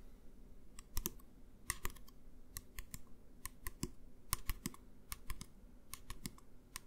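A medium clear plastic pump bottle of hand gel, hollow and partly filled with clear gel, is held upright in both hands and tapped with the fingertips and fingernails. About two dozen quick, crisp clicking taps come in an uneven rhythm, each with a bright, hollow plastic tick that dies away almost at once over a faint low hum.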